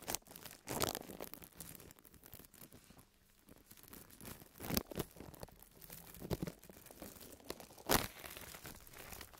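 Fingertips of both hands scratch and press the film of a large, thin, white printed plastic bag lying empty and flat on a table. A soft, steady crinkling and scratching runs throughout, broken by several louder, bright crackling bursts where the film is pressed harder.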